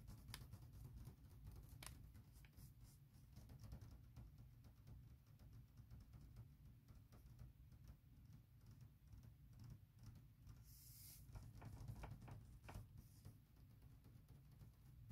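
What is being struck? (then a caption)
Hard plastic laptop shell case. Long acrylic nails tap and lightly scratch the smooth, plain light side of a large, thin hard plastic MacBook Pro laptop shell case. Quiet, irregular clicky taps sit over a steady low rumble, with a brief brighter scratching rasp partway through.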